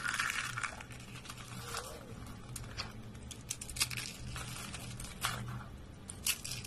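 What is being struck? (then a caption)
Soap curls. Small hollow spiral curls of dry white soap are crushed in fingers and a fist over a wooden surface. The result is a steady run of dry, bright crackling and crunching, punctuated by sharp snapping peaks over a faint low hum.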